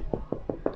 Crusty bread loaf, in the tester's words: quand ça sonne creux, c'est que c'est cuit